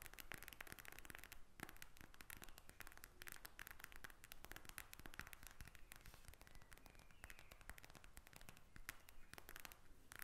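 A pink gel bead eye mask in a plastic shell, lying flat, is tapped and scratched with long red acrylic nails. Rapid, dense, crackly taps and scratching clicks run continuously, each one short and dry with almost no ring. The result is a steady, quiet texture of sharp plastic clicks over a low rumble.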